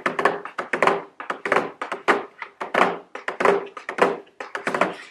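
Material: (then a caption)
Cardboard. Very long blue nails tap a medium square white cardboard nail polish gift box, held upright, with a round plastic window showing the nail polish bottles inside. About two dozen quick, irregular taps sound as dry, hollow thunks with a faint mid tone and little low end. Each tap dies away almost at once.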